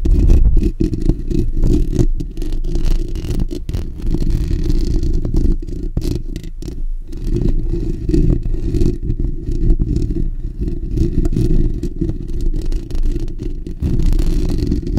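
Fingertips and short natural nails of both hands scratch the bare steel wire-mesh grille of a black desktop condenser microphone's hollow dome. The result is a dense, continuous, boomy scratching and rubbing with a heavy low rumble, broken by brief dips and quick rasping strokes throughout.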